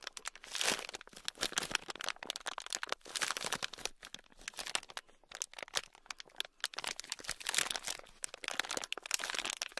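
A small sealed clear plastic bag, packed full of tiny red beads, is squeezed and crinkled with the fingertips. It makes dense, bright crinkling and crackling in rapid bursts that swell and fade, with the tiny beads shifting and crunching inside. There is almost no low end, and each crack stops short with no ring.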